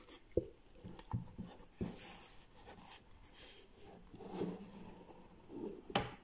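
Latex-gloved fingertips tap and rub the striped lid and sides of a small, hollow cardboard gift box with a grey base, standing on a wooden desk. Several short, dull, hollow knocks stand out, with a low-mid body and almost no ring. Between them comes a quiet, soft scratchy rubbing.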